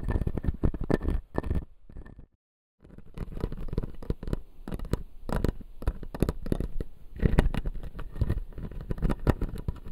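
Fingertips and nails of both hands tap and scratch the front teeth of a small clear acrylic dental model with white plastic teeth. Rapid, dull clicks and scratchy rubbing mix with low thuds, broken by one brief silent pause early on before the tapping resumes.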